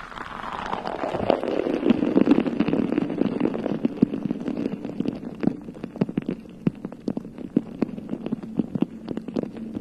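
Long nails scratch and tap the bare, hollow, round metal mesh head of a rhinestone-covered USB microphone cupped in both hands. A dense, close scratching rustle, with a low-mid body that sweeps downward in the first two seconds, is broken by many sharp, dry taps that stop instantly. The taps stand out more clearly toward the end.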